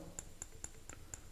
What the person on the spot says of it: definitely has the sound of a stone when you tap on it